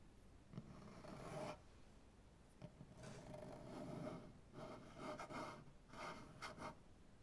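Long painted nails on one hand scratch across a large solid maple butcher block tabletop in five separate passes. Each pass is a dry, raspy rub with a faint ringing tone near 630 Hz and little bright content. Quiet pauses fall between the strokes.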